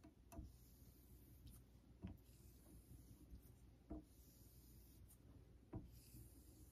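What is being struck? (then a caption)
Steel razor on synthetic whetstone. A vintage Geneva Cutlery steel straight razor is stroked along the surface of a solid, pale Naniwa Super Stone synthetic honing stone held in a holder. Each quiet, low rubbing scrape ends in a short, dull scuff, repeating about every two seconds over a soft steady hiss.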